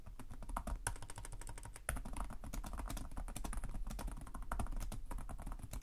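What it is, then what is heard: Plastic laptop keyboard being typed on. Fingertips with short nails type continuously on the plastic chiclet keyboard of a black laptop resting on a desk. Rapid, crisp key taps run without pause over a steady low hum, each click short and dry.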